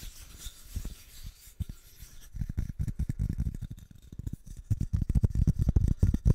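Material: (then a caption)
Wood. Fingernails scratch and rub the face and edges of a small, flat, solid brown wooden plaque with white painted lettering, held close to the microphone. The first two seconds are quiet, faint scratches over a thin bright hiss. Then come irregular, rapid, dull thudding scrapes with very short decay, growing denser and louder toward the end.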